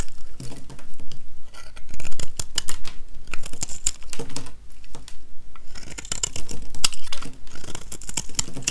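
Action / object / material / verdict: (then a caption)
scrape / bar of soap scraped with a metal blade / soap / none. A metal utility-knife blade scrapes shavings off the surface of a small, solid, oval, dry yellow soap bar held in one hand. The result is a rapid run of short, dry, crackly scraping strokes with bright edges. The strokes come in bursts separated by brief pauses.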